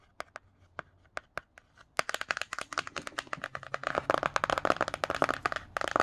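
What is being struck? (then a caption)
Glossy cardboard hardcover book cover. A fingertip with a paperclip-tipped nail traces and scratches the glossy cardboard cover of the hardcover picture book "The Myths," the same book throughout. For the first two seconds, sparse, sharp, dry ticks sound against near silence. Then a dense, quickening run of crisp scratches and taps follows, bright and papery with a mid-range focus and no ring.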